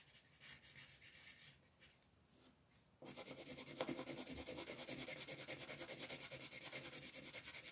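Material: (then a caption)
Paper. A yellow colored pencil shades small areas of a flat sheet of white paper printed with a floral design, while the other hand with long nails holds the sheet. Quiet, light scratching gives way after about three seconds to louder, rapid back-and-forth rubbing strokes, about three per second. The strokes make a dry, bright, papery scrape with little low end.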